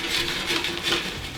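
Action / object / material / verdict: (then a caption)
drop / fried potato chips on a serving board / fried potato / crispy. Crispy French fries are put onto a serving board, making a light, continuous tapping patter with a bright, high-frequency rustle and no clearly separate hits. The fries are crispy.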